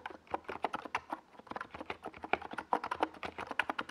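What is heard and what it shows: Fingertips of both hands type fast on a compact NiZ Plum Atom 68 mechanical keyboard with a white plastic case and purple and yellow Domikey Gas Attack SA plastic keycaps, resting on a desk pad. A rapid, uneven stream of short, hollow plastic clacks centers in the midrange around 770 Hz, with little bass and a touch of high click. Each keystroke stops almost instantly.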